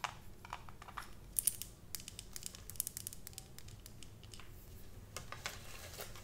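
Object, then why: Glass jar with metal screw lid. A medium glass jar full of raw honey with a metal screw lid is held in hand while long acrylic nails tap and scratch the lid and the glass sides. Quiet, dense clicks and scrapes come in bright, fast bursts over a low, steady rumble, each tap dying away almost instantly.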